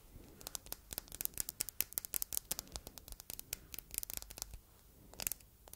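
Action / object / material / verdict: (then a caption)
tap / glass heart paperweight / glass / none. Long red nails tap and scratch the flat face of a palm-sized solid red glass heart paperweight with engraved text and rhinestones, held up close. A quiet, rapid run of sharp, bright clicks and scratchy ticks dies away almost instantly with no ring. The sound pauses briefly near the end before a final short flurry of taps.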